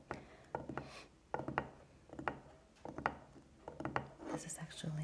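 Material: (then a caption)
Wood. A burned-out candle with a wooden part, belonging to a fiancé's mother, is tapped by fingers in irregular clusters. The taps are short, dry knocks with a quick decay and a mid-range woody tone over a faint low hum.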